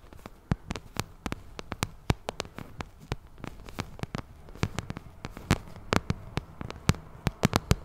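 Long nails scratch and tap the side of a glossy pink vinyl cosmetic bag held close to the mic. Dozens of sharp, dry clicking taps land at an irregular pace, with a soft rustling scratch underneath. Each tap has a dull low body and stops at once, with no ring.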